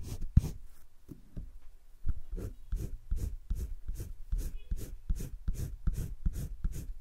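A green wooden colored pencil shades across thick cream drawing paper in a spiral sketchbook. Quick back-and-forth scratching strokes come in a steady but uneven rhythm, each a short burst of bright papery hiss over a soft low rub.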